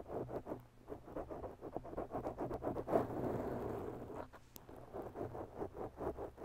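Long bare natural nails scratch a soft, porous black foam windscreen on a microphone, making a steady run of soft, muffled, irregular scratching strokes. The sound sits in the low-mid range with little brightness, and a louder, longer rub comes near the middle of the clip.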